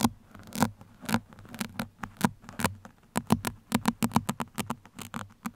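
Pin tips are scratched across the surface of a black foam microphone windscreen with both hands, producing a quick, irregular series of short, dry, scratchy bursts that reach up into bright hiss. A faint low hum sits steadily beneath the scratching, and each burst stops almost instantly with no ring.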